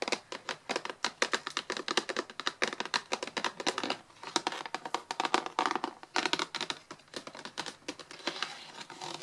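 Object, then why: Closed cardboard box. Long nails and fingertips tap and scratch the top and sides of a plain white cardboard inner box, hollow and closed, standing on a table. Dense runs of quick, dry, bright clicks and scratchy rustles fill the clip, with brief pauses between bursts and no low rumble.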